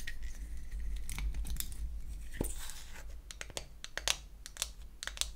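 A small pink-painted wooden toy eyeshadow case is opened and then closed while long acrylic nails tap and scratch its wells and back. The result is a loose, irregular run of sharp, bright clicks and dry scratching over a steady low hum.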